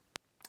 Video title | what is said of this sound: The Worst Ray-Bans Ever | they have plastic lenses so if i tap on the lens here we can just hear that absolutely terrible plastic sound